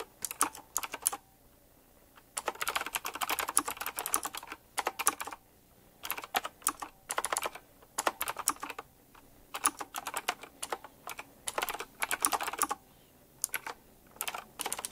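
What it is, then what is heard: Mechanical keyboard typing. Fast fingertip typing on a retro typewriter-style mechanical keyboard with round plastic keycaps set in chrome rings. Bursts of sharp, bright clicky keystrokes run in quick rattling runs separated by short pauses, each click dying away almost instantly.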